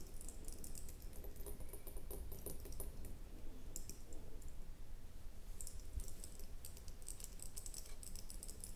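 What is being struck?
Small ribbed glass jar with lid.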